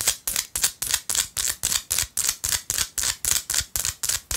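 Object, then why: Small chunk of rock salt. Long acrylic nails tap and scratch a small solid chunk of pink rock salt held in the other hand. About sixteen crisp, bright scratching strokes come in a steady rhythm, each starting sharply and fading within a fraction of a second. There is almost no low end.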